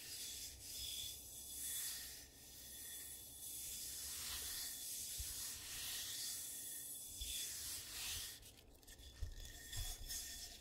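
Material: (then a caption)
Ceramic. Fingertips and medium nails rub and scratch the outer wall and rim of one medium dark-brown glazed ceramic bowl with a carved foot, hollow and empty, set upside down and then tilted on a carpeted surface. The sound is a steady, bright, hissy rubbing in slow repeated sweeps over a faint low rumble, with two light scratchy ticks near the end.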